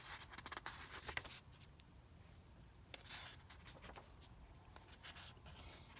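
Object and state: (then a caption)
Paper comic book pages. Fingertips turn the pages of an open paper comic book lying on carpet and rub across the paper surface. Quiet, bright rustles and dry scratchy swipes come in bursts, with a cluster of crisp crinkles near the start and another swell of rustling about halfway through, over a low background rumble.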